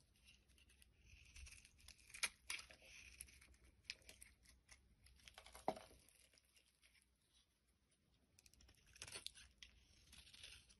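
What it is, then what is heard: Bar soap being carved. A solid orange bar of soap is carved with a metal blade into curls, making soft, bright scraping and crinkly shaving sounds. The scrapes come in uneven bursts, with a few sharper clicks and a quieter stretch near the end.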